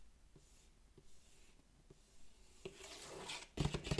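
Fingertips and nails scratch and trace across the printed text on the back panel of a sealed, hollow cardboard Elite Trainer Box. Faint, dry scratching with occasional soft ticks builds into louder, denser, bright rasping rubs toward the end.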